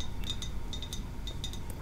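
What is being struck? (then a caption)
Small glass ornamental house. A small glass library house from a Christmas village, with a little red door and snow on its roof, is tapped lightly. It gives a series of short, bright glassy clinks that ring briefly over a low background hum.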